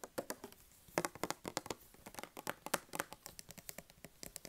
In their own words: 02:48 tapping/scratching on a handsoap dispenser